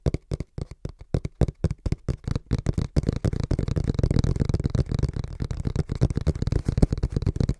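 Fingertips tap quickly on the front panel of a small, brown, hollow cardboard box held in both hands. The taps make dull, dry, low thumps with almost no ring, spaced apart at first and then running together into a dense, rapid patter.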